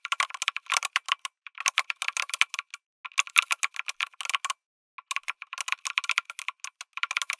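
Fingertips type on a lit mechanical keyboard with an aluminum case and plastic keycaps. Dozens of quick, crisp, bright clacks come in rapid bursts, with short pauses near 1.4, 3 and 4.8 seconds. Each keystroke is dry and stops almost instantly, with no low-end thump.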